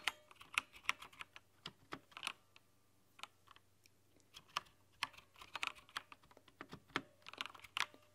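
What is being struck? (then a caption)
Plastic mechanical keyboard keys. Long painted nails type on a plastic backlit mechanical keyboard with plastic keycaps and a red-to-pink backlight. The result is quick, bright, crisp clicks with almost no ring, coming in irregular bursts with a short pause in the middle.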